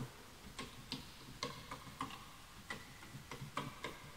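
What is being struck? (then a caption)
Bamboo wood computer keyboard. Fingertips type on the wooden keys of a full-size bamboo wood computer keyboard; the mouse is not touched. Nine short, dry, clicky taps ring around 1 kHz with a bright edge, each fading almost instantly and separated by brief pauses over a quiet background.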